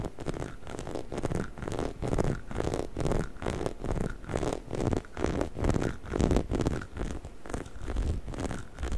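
A hollow yellow-orange rubber squeaky chicken toy is held in both hands in front of a microphone while fingertips and nails scratch and squeeze its textured rubber surface. The result is a dense, scratchy rustling with a heavy low-end rumble that swells and fades in uneven bursts about once a second.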